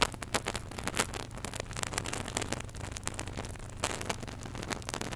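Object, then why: Small plastic squeeze bottle of liquid. A small white plastic contact lens solution bottle with its flip cap open and foam at the nozzle is squeezed and shaken between gloved fingers. Liquid sloshes while bubbles crackle and fizz in dense, sharp bursts over a steady low hum. The crackles spread from low into bright, high tones.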